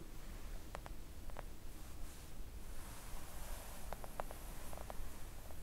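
Long acrylic nails on both hands gently tap a thin, solid, flat pink silicone nail art mat. The quiet, soft taps come in small clusters of short, dull clicks that stop almost instantly, over a steady low rumble.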